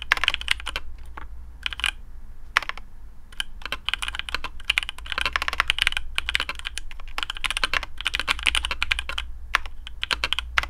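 Fingertips of both hands type steadily on a black custom AARU mechanical keyboard with TTC Speed Silver switches, PBT plastic keycaps, a carbon fibre plate and a hollow case. Rapid, bright, short clacks come in quick bursts over a steady low hum.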